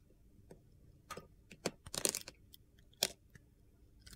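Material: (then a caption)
Soap. A utility knife blade cuts and scrapes brittle flakes from a solid light blue bar of soap, yellow at the edge, held in the hand. Short, crisp, bright crunching and scraping bursts come in uneven clusters over a quiet background, with the densest and loudest stretch near the middle and another sharp crack toward the end.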